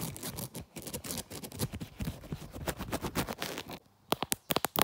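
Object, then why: Smartphone in a leather case. Long black nails scratch and tap the back of a hand-sized smartphone in a brown leather-look case with a black pop grip, working around the camera lens. Dense, crackly scratching runs for nearly four seconds, then a brief pause gives way to several sharp, dry taps.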